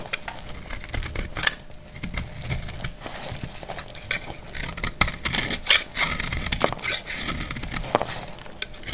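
A solid, dried light green soap bar held in the hand is scraped and cut with a metal utility blade, breaking into crumbly flakes. Dry, bright crackling and crunchy scraping run throughout, punctuated by sharp clicks and snaps that die away quickly.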